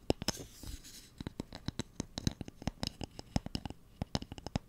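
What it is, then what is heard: Wooden spoon. Fingernails scratch and tap along the length of a light, solid wooden cooking spoon. A brief scratchy rustle at the start gives way to a rapid, uneven series of short, dry taps that die away almost instantly. Each tap has a low woody knock with a bright click on top.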